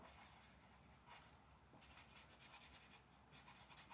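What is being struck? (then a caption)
Paper page rubbed by a felt-tip marker. A dark felt-tip marker rubs and scratches across a thin printed paper mandala page lying flat on a dark wooden table while one hand colors and the other, with long black nails, rests on the sheet. Quiet, bright, papery scratching comes in soft strokes that turn into faster back-and-forth bursts in the second half.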